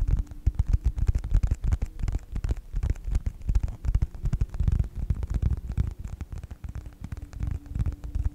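Fingertips tap and scratch the cover of a closed yellow faux leather wallet with a snap strap. The result is a rapid, irregular stream of soft, dull, low thuds with a light scratchy texture and a faint steady hum underneath.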